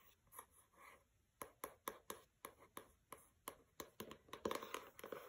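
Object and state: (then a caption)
Hardcover book, tapped and scratched. Fingertips with long red nails scratch and tap the cover and lower edge of a solid, closed pink hardcover book with a paper cover lying on carpet. Soft scratchy swells give way to a series of crisp, dry taps with very short decay, with a papery, bright edge. The taps grow quicker and denser toward the end.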